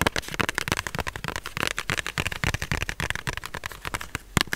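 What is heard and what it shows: A small printed cardboard tarot deck box, probably holding the cards, is held in one hand and tapped and rubbed with the fingertips close to the mic. It makes a dense run of dry, crackly taps and scratches with no ring, full in the low end and bright on top, with a sharper tap near the end.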